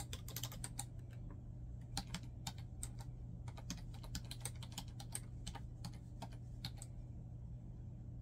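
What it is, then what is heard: Plastic laptop keyboard being typed on. Fingertips type rapidly on a black plastic laptop keyboard, producing a quick, uneven run of short, bright plastic key clicks that die away almost instantly. The taps sit quietly over a steady low hum that runs through the whole clip.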